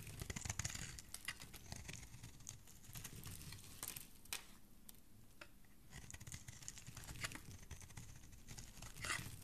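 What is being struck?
Soap bar scraped with a metal blade.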